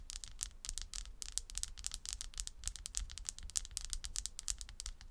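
Long red almond-shaped nails scratch and tap across a round slice of solid tree trunk with its bark edge, resting on a table. A rapid run of short, dry, bright scratching clicks comes in quick bursts, each dying almost instantly, over a faint low rumble.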